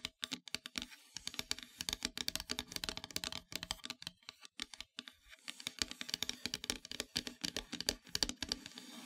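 Long metallic nails tap quickly across a flat, solid, dark painted wooden heart-shaped plaque. The result is a rapid, uneven run of short, bright clicks that stop almost instantly, with little low end.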